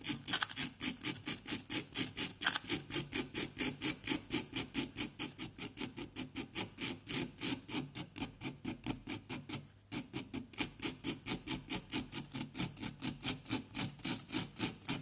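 A pointed wooden stick scratches and digs into the surface of a solid, palm-sized orange-yellow plaster block resting on cardboard, while the other hand holds the block steady. A rapid, fairly even series of short, bright, gritty scraping strokes continues throughout, with a brief quiet dip near the 10-second mark.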